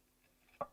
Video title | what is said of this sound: Alan Stillman | put a knife in here so you hear how crispy these are